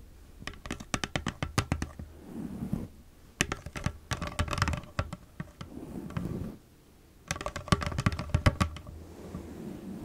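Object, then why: Clear plastic cosmetic bottle. Long nails tap rapidly on the sides of a hollow, nearly empty clear plastic cosmetic bottle. Three bursts of quick, dry, short clicks are separated by softer rubbing sounds, with the body of the sound sitting low.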